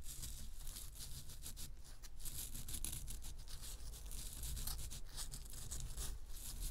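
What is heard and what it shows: Long nails scratch the crumbly, gold-coated surface of a round, solid bath bomb of pressed powder held in the hands. The result is a steady, dry, bright rasping and crackling with flickering scratchy strokes over a low, constant rumble.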